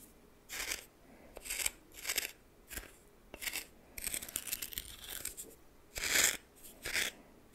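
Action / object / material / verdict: scrape / coarse salt in a small glass bowl / salt / none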